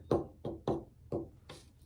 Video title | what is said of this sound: Preparing a soundboard blank :How to build a guitar pt 7 | you can tap it you can hear it ring you get sort of an idea of what it's going to sound like